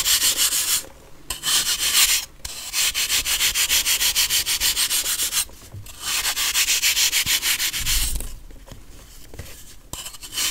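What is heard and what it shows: A metal knife blade rasps across a solid compressed baking soda block held in hand, shaving it in rapid, rhythmic strokes. The dry scraping is bright and hissy, coming in loud bursts of quick strokes separated by brief pauses, then trailing off into softer, crumbly scratches near the end.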